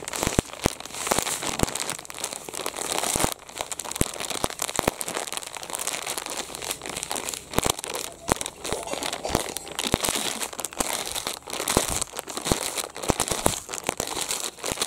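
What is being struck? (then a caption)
Thin plastic detergent pouch. A medium-sized, empty and flattened blue printed plastic Rin detergent pouch is crumpled, pulled taut and crinkled with the fingers of both hands. A steady, bright crackling rustle runs throughout, broken by many sharp snapping crinkles.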